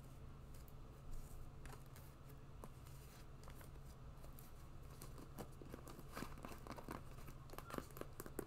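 An empty white quilted synthetic leather boot with a fur cuff and pompom laces is scratched and tapped with long nails. Soft, crinkly scratching runs throughout over a steady low hum. Sharper light taps become more frequent toward the end.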